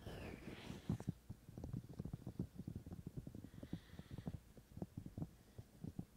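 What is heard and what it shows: Fingertips of both hands tap on the white silicone ears of a binaural microphone. The result is a quick, irregular series of soft, dull, low thumps with almost no ring, opening with a brief breathy hiss.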